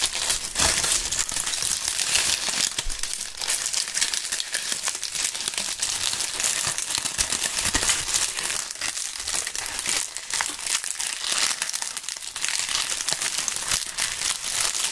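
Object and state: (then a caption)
Dry, brittle maple leaves. A small handful of thin, brittle, dry brown maple leaves is squeezed and crushed between two gloved hands, crumpled continuously. The result is a dense, steady stream of bright, crisp crackling and crinkling with almost no low end, holding an even level for the whole clip.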